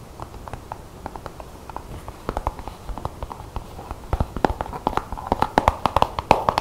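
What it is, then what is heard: Plastic paint tube. Long fingernails tap and scratch along the body and hang tab of a plastic acrylic paint tube. Dry, short clicks come in an irregular, quickening series with no ring, growing louder and denser toward the end. A scratchy mid-pitched rasp rises between the taps in the final seconds.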